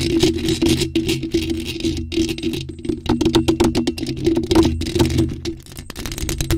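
Long pointed nails scratch and tap rapidly over the top of a bare, hollow black metal mesh microphone grille. Dense scratchy rasps and quick taps overlap throughout, ringing with a steady hollow metallic tone around 336 Hz and a faint high metallic sizzle.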